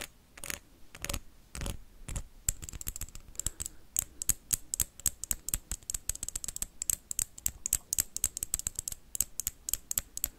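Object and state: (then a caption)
Wax candle. A blue wax candle is scratched and then tapped quickly with paperclips. A few broad scratching strokes come first, then a fast run of short, sharp taps with a bright metallic tick on each strike. The sound stays dry, with no ringing after each hit.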